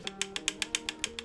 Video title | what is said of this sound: Guess who's back? - NEW Mode SixtyFive Build | I think you can hear that still a little side to side tapping